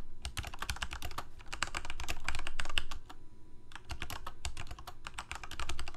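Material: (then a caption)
Plastic. Rapid key presses on a full-size black plastic Corsair mechanical keyboard with lit keycaps, typed with the fingertips of both hands. Quick, short, dry clacks with a deep thock underneath run in a steady stream, pause briefly just past the midpoint, then resume.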